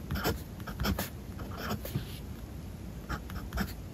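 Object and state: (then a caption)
Fountain pen writing on paper. The steel nib of a blue fountain pen scratches across the page of a spiral-bound paper notebook lying flat on a desk as a hand writes Japanese text. Short, bright scratching strokes come in quick bursts with brief pauses between them, over a soft low rumble.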